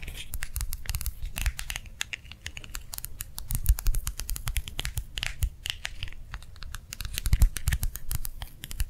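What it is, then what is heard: Gel-filled plastic hand warmer pad. A small, round, clear plastic gel-filled hand warmer pad lies on one palm and is tapped quickly with the fingertips and nails of the other hand. The result is a dense run of fast, light clicks and soft crinkly scratches, with bright sharp tops over a dull low thump.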